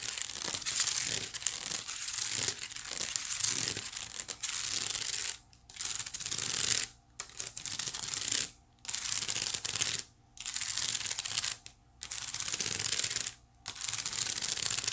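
Long nails scratch and rake over the weave of a small, hollow, white woven wicker basket held beside the face. The result is a dense, bright, crackly rasping that comes in steady bursts broken by brief silent pauses.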